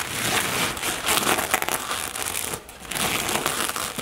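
Long natural nails tap and scratch the surface of a soft, medium-sized black floral-print nylon or polyester toiletry bag that is probably holding items. The result is a steady, bright crinkling and rustling texture with little low end, briefly quieting near the middle before the scratching picks up again.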